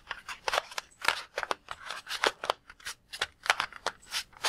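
A palm-sized red-and-white latex balloon filled with water is held in both hands while fingertips squeeze and tap it. A quick, uneven run of short, crisp taps and rubbery squeaks follows, bright with almost no low end. Each sound dies away almost at once.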